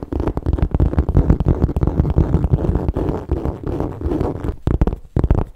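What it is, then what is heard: Leather handbag. Fingertips and long nails tap and scratch the bottom panel and metal feet of a metallic gold textured leather MK satchel handbag held close to the mic. Rapid, irregular, muffled low thumps blend with soft scraping, nearly continuous, with brief pauses near the end, carrying almost no high content.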